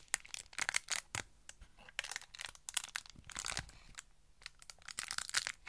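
Long nails tap and scratch a Pritt Patafix cardboard and plastic blister pack, with the white putty visible inside the plastic. The result is a quick, irregular run of dry, bright crinkling clicks and scrapes with almost no low end, each sound stopping sharply without ringing.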